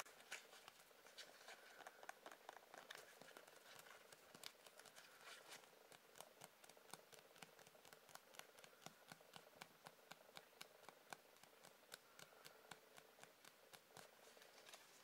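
A hollow triangular cone of white dotted paper with a strawberry print is tapped and scratched with fingertips and nails. The result is a quiet, continuous run of rapid, dry, papery ticks and scratchy rustles that are bright and crisp, with almost no low end and no ring after each touch.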